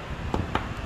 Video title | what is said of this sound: 45M House and Lot sa Binictican Heights - Exclusive Subdivision ng SBMA | dun sa tunog pa lang pag pinipitik-pitik nyo no, halatang tempered glass na